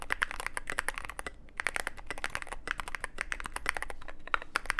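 Fingertips type rapidly on a mechanical keyboard with plastic keycaps on mechanical switches and a black aluminum case. Dense, overlapping clicky-clacky keystrokes are heard, with sharp bright transients and a brief pause around the middle. Each keystroke dies away almost instantly over a faint low hum.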